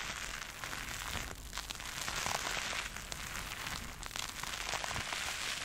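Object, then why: Synthetic foam sponge covered in soap foam. A purple porous synthetic sponge covered in soap foam is pressed, dug into and squeezed with both hands by long red nails. Dense, wet, bubbly crackling fills the clip steadily, bright and hissy with little low end.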